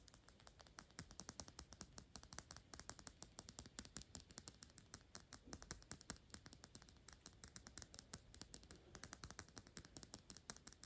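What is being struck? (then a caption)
Small glass perfume bottle. A small square Byredo glass perfume bottle with a black cap, partly full of liquid, is held in both hands and tapped quickly with long pink acrylic nails. A rapid, steady stream of quiet, sharp clicks with bright high tones dies away almost instantly, with no ringing between taps.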